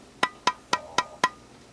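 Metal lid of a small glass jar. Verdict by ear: Unsealed.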